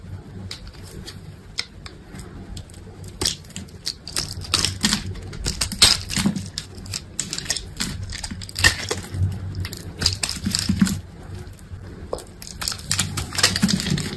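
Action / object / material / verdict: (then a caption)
scrape / bar of soap cut with a knife blade / soap / none. A utility knife blade cuts into a solid white bar soap with a scored grid, held in the hand, and scrapes off cubes. Dense, crisp clicks and brittle crunches fire in rapid, irregular bursts, bright and snappy, over a faint low hum.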